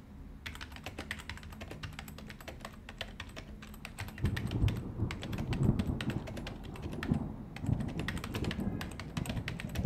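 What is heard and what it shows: Fingertips of both hands type steadily on the hollow plastic keys of a white plastic desktop keyboard, making a quick, irregular run of short, bright clicks. A low, dull background rumble grows louder after about four seconds and continues beneath the tapping.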